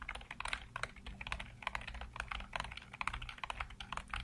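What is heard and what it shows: Fingertips type rapidly across a full-size black plastic computer keyboard with hollow keycaps, producing a dense run of short, dry clacks with a bright, hollow tone centered in the midrange. The keystrokes come in quick, uneven bursts over a faint low hum, each click dying away almost instantly.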